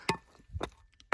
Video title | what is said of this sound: Do You Like Gold? How to Locate Gold Deposits / Areas to Dig | that's soft there listen to those soft zones that soft stuff is what will just split apart easy